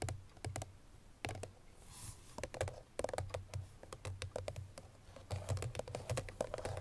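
Long nails tap on the front face of a hollow cream paperboard Chloé perfume box that holds the bottle, about 31 quick taps in an irregular, typing-like rhythm. Each tap is a dry, bright click over a soft, low hollow thump with a midrange knock near 600 Hz, dying away almost instantly.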